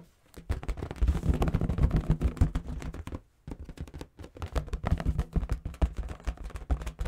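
A large inflated pink and purple latex balloon, hollow and air-filled, is held in the hands and tapped and rubbed with fingertips and nails. It gives a dense, irregular run of soft, low, drum-like thumps with scratchy rubbing between them. There is a brief pause just after three seconds, then the tapping resumes.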